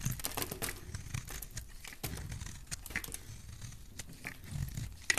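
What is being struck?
Soap bar cut with a knife blade.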